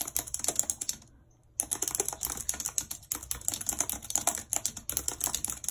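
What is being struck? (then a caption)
Plastic computer keyboard. Long red nails type on a white plastic computer keyboard, tapping its hollow plastic keys. The result is a rapid run of bright, sharp clicks with a brief pause about one second in before the typing resumes.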